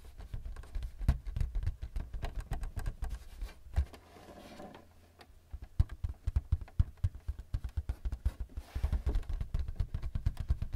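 Fingertips of both hands tap quickly on the flat surface of a thin white plastic paper-support flap on a printer. The result is a rapid, uneven patter of short, dull, low thumps that die away almost instantly. The tapping pauses briefly near the middle before resuming.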